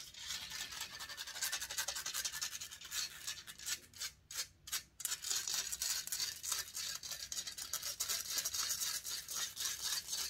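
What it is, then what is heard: Metal microphone grille. Long nails and fingertips scratch and rub the hollow metal mesh grille of a silver condenser microphone. The result is a fast, dense, bright rasping with almost no low end, broken by a couple of short gaps around the middle before the scratching resumes just as hard.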